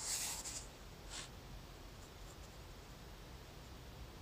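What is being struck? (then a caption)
Graphite pencil on thin notebook paper. A graphite pencil draws small shapes on a thin lined notebook page with scratching strokes. A bright, hissy scratch opens the clip, followed by a shorter scratch around the one-second mark and faint light strokes over a quiet low rumble.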